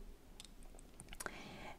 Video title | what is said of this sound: 104. Распаковка лота. Винтажные броши. Сокровища! | это пластик слышите такой а звук глухой